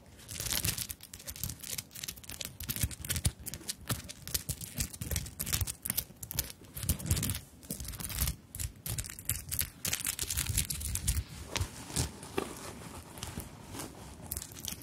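Long nails tap and scratch the bead flowers on a small, soft fabric handbag embellished with sequins and beads. The result is a steady, busy stream of bright clicks, crinkly rustles and scratchy scrapes over soft, low, muffled bumps, with brief louder flurries throughout.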